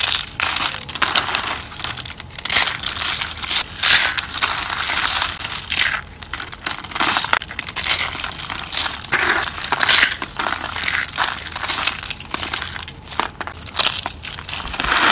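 Fingers crush and snap thin, flat, dried orange soap slices into flakes on a wooden table. The result is a steady run of dry, bright crunching and crackling with brief sharp snaps and almost no low end.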